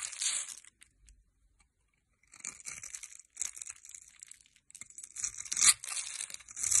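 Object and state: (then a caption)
Bar soap being cut and scraped. A metal blade cuts a grid into a solid rectangular green bar of soap held in the hand, then scrapes off small cubes. Bright, crisp scraping and crumbling bursts come in irregular clusters, with a quiet pause after the first cut.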